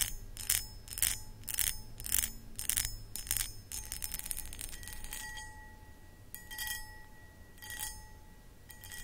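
Long acrylic nails scratch the textured surface of a hollow, empty, medium cut crystal glass pedestal bowl, making bright, rasping bursts in quick, uneven strokes. The strokes come loud and rapid at first, then thin into softer scraping with a faint lingering glassy ring, over a low background rumble.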